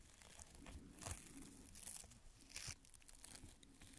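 A fan paintbrush's bristle tip is repeatedly scratched and brushed over a small, square, beige fabric adhesive patch that is thin, flexible and held between the fingers. The result is a quiet, irregular crinkling scratch, with bright, hissy bursts on the stronger strokes over a soft, low rumble.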